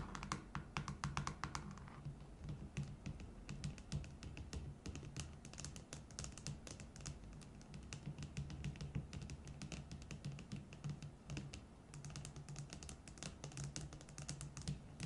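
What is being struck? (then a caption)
Tall plastic cup tapped with fingernails. Long nails tap quickly on the sides of a tall, hollow red plastic tumbler standing on a table. The result is a fast, dense stream of short, dry clicks with a hollow, plasticky tone, each dying away almost at once over a steady low hum.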